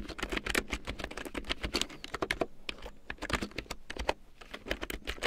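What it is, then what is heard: Plastic keyboard being typed on. Fingertips with long painted nails type quickly on a black plastic large-print computer keyboard with large yellow plastic keycaps printed in black, lying on a fur rug. Short, sharp plastic clicks and clacks come in a steady, uneven patter with bright edges and a light low thump, each dying away almost at once.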